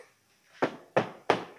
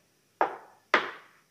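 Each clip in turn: First: plastic car body panel. Second: steel car chassis frame.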